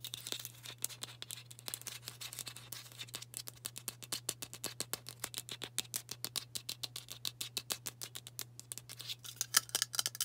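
Long burgundy nails rapidly tap and scratch a White Dove aluminium spray deodorant can with a plastic cap, held sideways close by. The result is a dense stream of short, bright, dry clicks with light scratchy texture. A steady low hum runs underneath.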